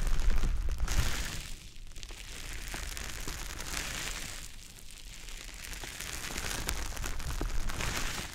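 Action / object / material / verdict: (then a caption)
scrape / konjac sponge puff rubbed on a microphone / konjac / none. A small, soft, damp, porous green teardrop-shaped konjac puff, held in the fingers, is rubbed and squished over the silicone ear of a dummy-head microphone. It makes a continuous low, muffled rumbling rub with faint wet crackles and bright, hissy squish textures. The sound is loudest at the start, eases through the middle in slow waves, and swells again near the end.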